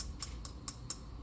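The M5 3-wood golf club head, made of titanium with a carbon fiber crown, is tapped four times, giving quiet, muted, almost plasticky taps with brief bright clicks over a low background hum. The titanium and carbon fiber crown mutes the sound.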